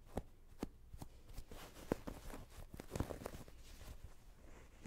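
A small stuffed throw pillow with a printed cotton-like cover and a stitched edge is held close and scratched with long painted nails while its edge seam is rubbed between the fingers. The result is a quiet, low-heavy, dull rustling and scraping with several short, sharp scratches that stand out.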